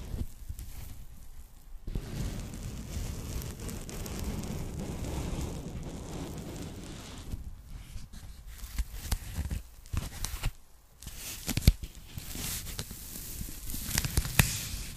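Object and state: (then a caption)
Polyethylene foam packing bag being crinkled. A thin, empty pink polyethylene foam packing bag is handled, crinkled and scrunched by hand. A soft, steady low rustling runs through the first half, then gives way to brief pauses and sharp, bright crackles and pops toward the end.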